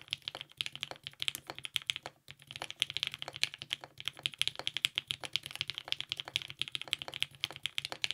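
Continuous two-handed fingertip typing on a compact TGR 910 RE mechanical keyboard with lubed 55g Nixie switches, a polycarbonate plate, and purple GMK ABS keycaps. It produces a rapid stream of short, bright, clicky-clacky keystrokes with almost no low end, each dying away almost instantly. There is a brief pause just after two seconds.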